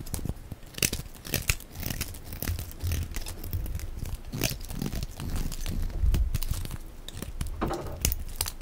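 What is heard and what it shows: A utility knife blade scrapes and shaves thin pieces off the surface of a green, translucent, rectangular bar of dry glycerin soap, solid and hand-sized, held in one hand. Crisp, crunchy scraping and tearing strokes come in quick, uneven bursts, with bright edges over a steady low rumble.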